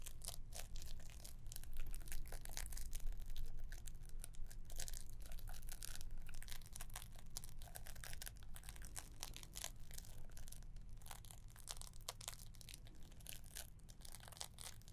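Fingernails scratch and press on the wrapping of a green-wrapped gift box tied with a gold ribbon. The result is a dense run of dry crinkling and tearing-like scratches with brief bright transients over a steady low hum.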